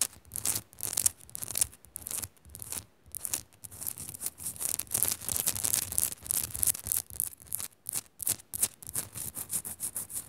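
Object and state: Rock-salt lamp scratched with fingernails.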